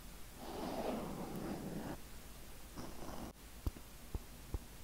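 Fingertips gently scratch and rub a black foam windscreen on a microphone, producing a muffled, low-heavy rustling in two soft swells. Three short, sharp clicks follow near the end.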